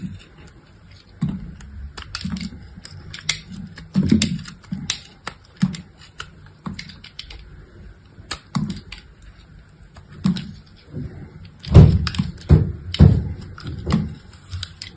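A hand-sized, solid chunk of dried soap with a gold-painted surface is held in one hand, gripped by long acrylic nails, while a utility knife blade scrapes and cuts thin, crumbly slices from its edge. Irregular, short, crisp scrapes and crunchy cuts with dull low thuds and brief bright clicks repeat throughout. A louder cluster of cuts comes near the end.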